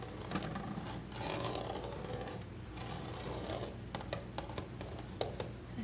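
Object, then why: Molded plastic toy washing machine lid. Fingertips and short nails scratch and rub across the textured plastic top and lid of a vintage Little Tikes toy washer, a large hollow molded plastic toy, near its blue tub opening; the lid may shift on its hinge partway through. Soft, hollow scratching swells over a low steady rumble, then gives way to a series of sharp, bright plastic clicks and taps.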